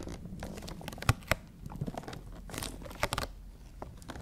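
Long nails tap and scratch across a printed cardboard toy box with a clear plastic window and figures inside. A steady dry scratching rustle runs throughout, broken by a few sharp, bright taps and a crinkly burst of scraping on the window. Each tap decays almost at once, over a low, muffled body.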